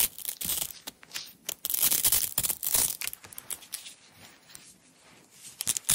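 Long nails peel a strip of hook-and-loop tape from a small red nylon roll. The result is a bright, crackly ripping in bursts of varying length, loudest early on, then softer and sparser before a final sharp rip at the end.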